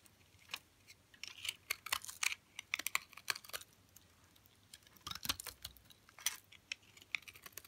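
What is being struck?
Olive oil soap bar cut with a knife blade.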